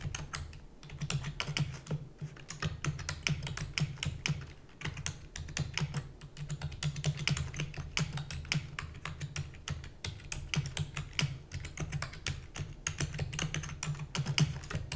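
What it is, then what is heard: Plastic computer keyboard. Rapid typing with fingertips and long natural nails on a full-size black plastic computer keyboard with plastic keys and a hollow housing. A dense, continuous stream of sharp, bright clicks and taps that die away almost instantly, over a steady low hum.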